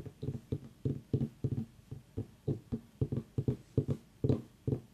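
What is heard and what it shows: A whole white ribbed mini pumpkin, turned on its side, is tapped and scratched along its ribs with long nails. About sixteen short, dull, low knocks sound in an uneven rhythm, with faint scratchy scrapes between them. Each knock dies away almost at once.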